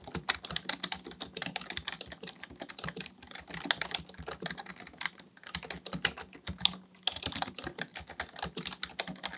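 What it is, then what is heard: Plastic computer keyboard. Both hands type steadily on a black plastic full-size computer keyboard resting on a desk, fingertips tapping the plastic keys. The result is a fast, continuous stream of short, dry, bright clicks with no ring, over a faint low hum.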